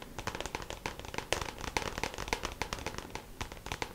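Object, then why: Hollow plastic compartment organizer box. A small, hollow, clear plastic compartment organizer box filled with press-on nails lies flat while its lid is tapped quickly with long pink acrylic nails. The result is a rapid, uneven run of sharp, dry plastic clicks with a bright edge and almost no ring, some taps landing harder than others.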